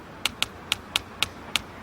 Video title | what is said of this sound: Bill Nye the Science Guy Sea 01 Epis 12 Sound | tap real softly you can hear the tapping through the bricks